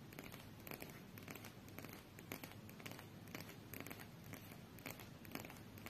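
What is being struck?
Deck of coated paper playing cards.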